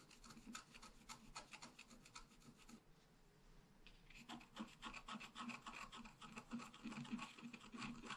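A wooden stylus scratches flower and trunk details into a thin sheet of scratch art paper lying flat. Quick, raspy scratching strokes repeat in a steady rhythm, go quiet for about a second near the middle, then resume slightly louder and brighter.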